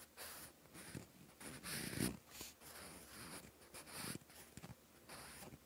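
A wooden graphite pencil tip scratches across a page of lined, textured cream paper in a notebook while writing. Dry, bright scratching strokes come in short bursts separated by brief pauses, with a few firmer, deeper scrapes standing out.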